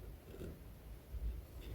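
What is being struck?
Nothing is struck.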